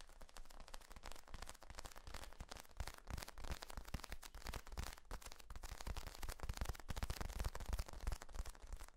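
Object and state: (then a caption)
Corrugated plastic tube, squeezed and rubbed. Fingertips squeeze and rub the ribs of a large, hollow, flexible yellow corrugated plastic tube that is compressed upright. The result is a dense, continuous run of quick crackling clicks and rustles over deep, hollow low thumps, with no pauses.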